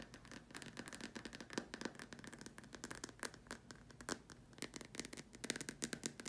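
Long nails tap and scratch the sides and top rim of a large, empty, white hollow plastic dome lamp shade. Rapid, quiet, dry clicks with a bright edge and almost no ring sound over a soft, continuous scratchy rustle, with a faint hollow body to each tap.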